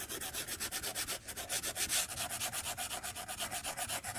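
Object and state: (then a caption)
Stylus scratching a glass tablet screen. A white plastic stylus scratches repeated quick strokes across a glass tablet touchscreen lying flat on a desk. About twenty-two short, bright, scratchy rubbing strokes follow one another at roughly four per second, with little low end.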